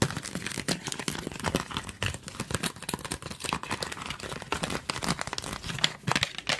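Fingernails scratch and tap the body and trigger head of a hand-sized, hollow, yellow translucent plastic trigger spray bottle held close to the mic. The result is a dense run of quick, dry crinkly scratches and light clicks with a bright, crisp edge and almost no ring.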